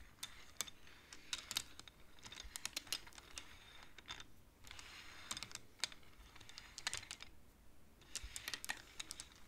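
Hands slide the painted wooden beads of a wooden abacus so they click together. Quick, bright, dry clicks come in uneven bursts and rattling clusters with short pauses between them, at a soft level throughout.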